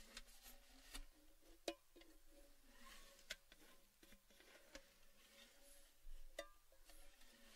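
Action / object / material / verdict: tap / metal tin / metal / none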